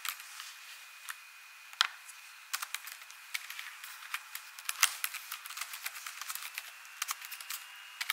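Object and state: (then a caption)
Plastic laptop keyboard tapped with fingernails. Long nails tap and type on the plastic keys of an ASUS laptop keyboard, producing quick, sharp, bright clicks in an irregular typing rhythm with almost no low end. A faint steady tone around 2 kHz hums underneath the quiet clatter.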